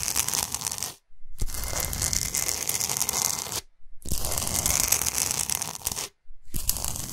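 Long nails scratch fast across a large, flat, solid pink Himalayan salt block. They make a dense, bright, gritty rasp with a low rumbling undertone. The scratching comes in four bursts separated by three brief silences.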